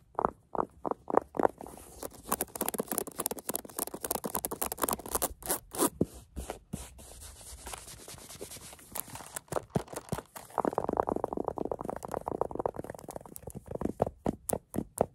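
Long acrylic nails scratch across the velvet surface of a small green velvet case with a gold zipper, making quick, soft, fuzzy scratching strokes. The strokes come in rapid bursts, some sharp and clicky, others a sustained brushing rasp, centered around the midrange and fairly quiet, with no ring after each stroke.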